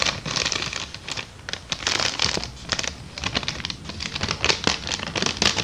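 An empty small brown kraft paper bag is crumpled, rubbed and scratched by fingers with long dark nails. The result is a dense, bright crinkling and crackling texture, with quick papery bursts rising and falling throughout.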